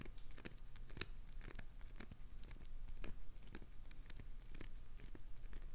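Long acrylic nails dig and scratch into the crumbling edge of a solid, translucent green glycerin soap bar. Dry, crackly scraping and crumbling snaps rise over a steady low rumble, with bright clicks flaring at irregular moments and ending almost instantly.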